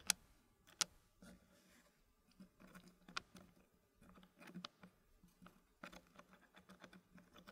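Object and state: Wooden puzzle pieces clicking into a wooden tray.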